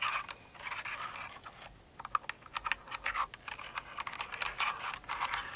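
Long nails type on a full-size Cinnamoroll mechanical keyboard with plastic keycaps. Quick, bright plastic clacks and taps arrive in irregular bursts, with a few sharper louder strikes. Softer scratchy brushing fills the quieter stretches between them.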